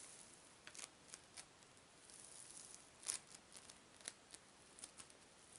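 A hand-sized lump of yellow floam (tiny polystyrene foam beads bound in slime), a soft, solid mass held in the hand, is squeezed and kneaded with fingertips and long pink nails. This makes quiet, bright, dry crackles and pops of beads, with about fourteen short snaps standing out over a soft, steady hiss of crackling. The snaps are loudest just after the three-second mark.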